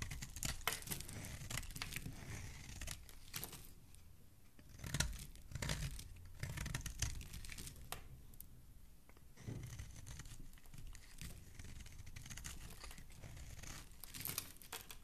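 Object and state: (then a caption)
Soap bar being scraped. A flat metal blade repeatedly scrapes shavings off the face and edge of a solid oval pink soap bar held in the hand. Dry, crackly scraping and tearing strokes come in quick bursts with bright edges, each ending sharply with little ring, and some strokes are louder and fuller than others.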